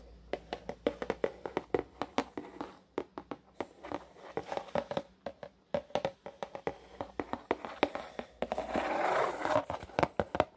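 Fingertips and short nails tap and drum on the flat black top of a medium, hollow, closed corrugated cardboard shipping box with white corrugated sides, held steady in one hand. Dozens of short, dry, hollow taps with a mid-pitched knock come in uneven, unhurried runs, with a brief scratchy rustle near the end before the tapping resumes.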